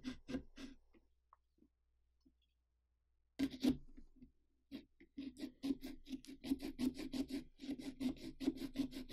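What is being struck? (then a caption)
Pumpkin rind cut with a serrated saw. A serrated carving saw rasps through the rind of a large hollow pumpkin along the mouth line in a sawing motion. A few short scratchy strokes are followed by a near-silent pause, then a quicker, steady run of repeated rasping strokes with a hollow, mid-low body.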